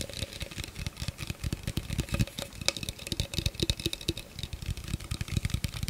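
An empty, hollow clear plastic blender cup with a threaded rim is held in the hands and tapped with the fingertips and nails. The result is a rapid, uneven run of dry taps, with low hollow thumps under bright, clicky nail ticks. Each tap dies away almost instantly.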